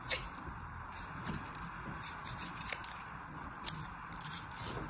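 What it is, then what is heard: Kinetic sand cut with a knife. A thin black knife blade scrapes and cuts through red and white kinetic sand packed solid in a hand-sized plastic cupcake mold, crumbling the surface. A quiet, steady, bright gritty scraping runs throughout, broken by a few sharp, crisp crunches as the sand gives way.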